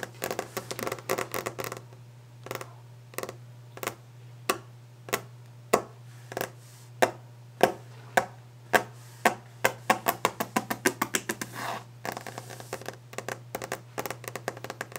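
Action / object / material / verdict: tap / varnished wooden desk top / wood / none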